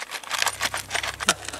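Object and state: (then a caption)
Closed metal canister with loose objects inside. A sealed metal WW2 canister is shaken, and the objects inside rattle in a rapid series of about nine bright, clicking knocks. Each knock dies away almost at once, and the strongest rattle comes near the end.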